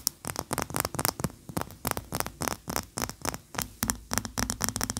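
Long fingernails tap and scratch fast against a large, upright, cream-colored solid wax pillar candle. The result is a rapid, irregular run of sharp, dry, bright clicks with no ring, mixed with soft scratchy rasps between them.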